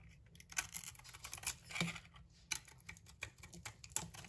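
A utility knife blade scrapes the bronze coating and soap off a solid green-and-yellow striped bar of soap held in the hand. The result is a quick, uneven series of short, crisp, bright scratching ticks, each dying away almost instantly, over a faint low rumble.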